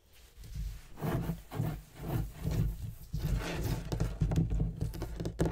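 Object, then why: Leather-topped wooden desk. Fingernails and fingertips of both hands tap and scratch the leather inlay of a large, heavy, dark wooden writing desk with a gold-tooled border. Fast sweeping strokes across the surface mix with dull, low, muffled knocks that swell and fade in uneven bursts.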